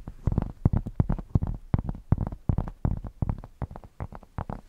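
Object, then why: Thick cork square. A thick, solid cork square is held against the microphone and scratched with long painted nails. About two dozen quick, uneven scraping strokes come through as dull, bassy thumps with a rough, crackly edge. They are heavy in the low end and stop dry with almost no ring.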